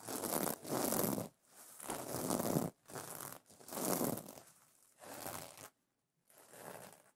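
Long nails scratch and brush back and forth across the iridescent plastic sequins of a pillow cover. The result is a series of dry, bright, rustling sweeps with short pauses between them.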